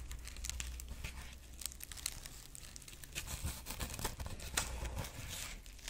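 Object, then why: Dried corn husk figurine. Long nails scratch the dry husk ears of a dried corn husk rabbit figurine, then both hands grip its body. The result is a continuous, close crinkling and crackling with bright, scratchy rustles and sharper snaps, over a steady low hum.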